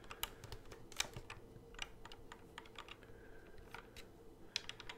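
Fingertips quickly tap and click the fret buttons on the hollow plastic neck of a Guitar Hero guitar controller held behind the microphone. A rapid, uneven run of short, dry, bright plastic clicks sounds over a quiet low hum, each click dying away almost instantly.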